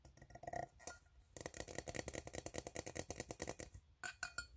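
Fingertips tap and nails scratch along the ribbed side of an empty, open, hollow steel tin can. Soft, scattered scrapes and taps lead into a brief pause, then a steady, rapid run of quiet, bright metallic clicks with very short ring. After another short gap, a few final taps follow.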